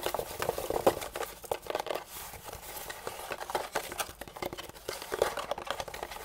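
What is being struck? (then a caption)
Thermoformed plastic packaging tray. Fingertips and nails tap and scratch across the molded ridges of a hand-sized, hollow, white/translucent thermoformed plastic packaging tray held upright in both hands. A dense, quiet stream of quick, crinkly plastic taps and scratches centers in the midrange with very little low end, and each tick dies away almost at once.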